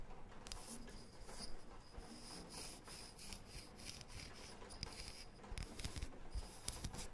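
A thin, round, light, solid wooden disc is rubbed and scratched with long painted fingernails. The result is a quiet, continuous scratchy rustle with soft low rumble underneath, faint bright streaks of scraping, and a few slightly louder strokes near the end.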